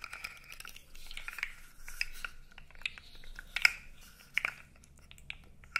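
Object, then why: Hollow plastic segmented toy. A blue segmented plastic fidget toy, about 20 cm long with hollow segments, is flexed and rubbed with the fingers so its segments click. The result is a run of short, bright clicks and crinkly rubbing, with a faint ringing tone around 2.2 kHz. A few sharper snaps stand out from the softer scraping.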